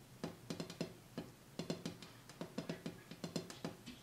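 Fingertips tap on the bare glass top of a coffee table, cleared of the items that were on it, to hear whether the sound changes. An irregular series of light, quick taps, each a short knock with a low tone near 168 Hz and a bright click on top, dies away almost at once.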